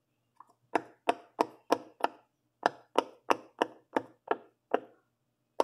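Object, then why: Silicone pop-it fidget toy. A hand presses and pops the hollow bubbles on the teal and blue section of a large silicone pop-it fidget toy. Two faint clicks come first, then 13 short, dull pops with a midrange tone, in a brisk but uneven rhythm with a brief gap partway through and a final pop after a longer pause. Each pop is dry and dies away almost instantly.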